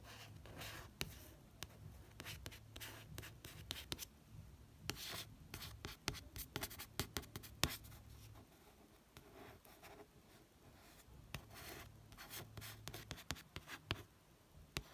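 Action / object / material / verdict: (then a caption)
scrape / paperback book with matte card cover / card / none. A fingertip traces the outlines of a figure in the photo on the matte card cover of a paperback book. The result is soft, dry scratching and rubbing, broken by many brief, bright taps and clicks, over a faint low hum.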